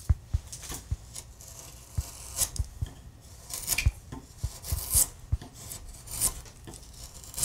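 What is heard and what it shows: A steel gouge, driven by a mallet, pares a solid wood relief carving on a carved wooden panel while the other hand steadies the carving. About a dozen short, dull low knocks are heard, each followed by brief bright scraping and rasping shavings, with quiet rubbing in between.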